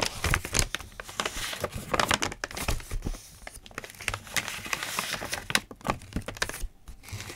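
Fingertips rub and scratch across the lined pages of a thick open paper notebook and turn them, making dry, crinkly rustles. Many short, bright scratches and crackles come in quick clusters over a soft papery hiss, with no ringing after each touch.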